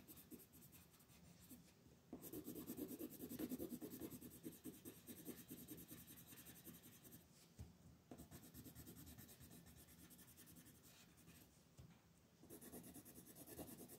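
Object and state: Colored pencil on paper.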